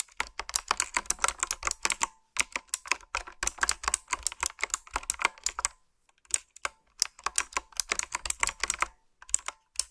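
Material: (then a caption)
Plastic. Fingertips and nails type on a retro typewriter-style keyboard with round black plastic keycaps and blue backlit switches. Rapid, bright, clicky keystrokes come in dense bursts, with short pauses around 2 seconds, 6 seconds and near the end.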